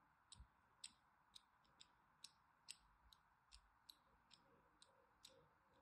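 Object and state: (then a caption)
Bar soap scored with a blade. A thin blade scores lines into a solid orange-and-white striped bar of soap held in the hand. Thirteen short, bright, crisp scratching clicks come at an uneven pace over a quiet, steady background hiss, each dying away almost instantly.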